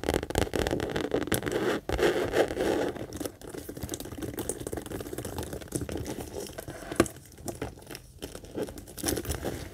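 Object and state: Coated canvas mini backpack.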